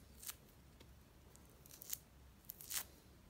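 A small whole mandarin orange with a thin yellow-orange peel is held in the hands and peeled with the fingertips and nails, the peel tearing away from the white pith in strips. Quiet, bright, crisp tearing bursts come at irregular intervals over a faint low background rumble, the last burst being the longest and strongest.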